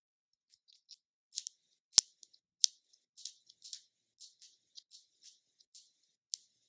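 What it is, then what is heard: Plastic cosmetic jar. Long nails tap and scratch the closed lid and base of a small round black plastic NYX concealer jar. Quiet, dry, high clicks and scratchy rustles come in irregular bursts, with two sharper taps standing out and nothing low or ringing underneath.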